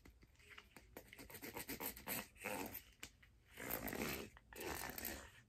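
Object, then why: Hard plastic figure skate blade guard. Long, dark-painted nails scratch and rub along the surface of an empty, long, hollow, teal hard-plastic figure skate blade guard held in both hands. Quick dry ticks give way to longer rasping strokes that swell and fade, with a hollow, bright scratchy texture.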